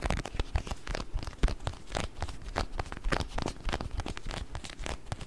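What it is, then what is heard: Plastic container of water beads. A small round clear plastic food container with a blue lid, filled with orbeez, is held in both hands close to the mic and tapped and scratched with fingertips and nails. Quick, irregular taps and crinkly scratches come in a steady stream. They have soft low thuds underneath and short bright clicks with no ring.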